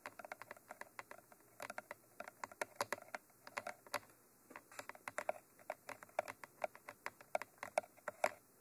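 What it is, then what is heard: Binaural microphone body tapped with nails. Long nails tap rapidly on the top surface of a Mitra 3D Pro binaural microphone, a hollow textured black cylinder with white end cages. Dozens of quick, sharp clicks sound in uneven bursts with brief pauses, each one dry and bright with almost no ring.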